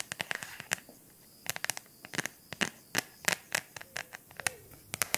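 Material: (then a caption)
Silicone. A very simple silicone phone cover is tapped in a quick, irregular run of short, dry clicks. The taps are crisp and bright, with little low end and no ring after each one.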